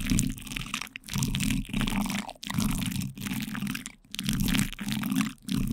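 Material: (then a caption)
Plastic film. The backs of two light-blue plastic spoons repeatedly press and scrape on plastic cling film wrapped over a microphone's metal mesh grille. The result is a close, crinkling crunch with a heavy low rumble underneath and a bright crackle on top. It comes in bursts separated by brief quiet gaps.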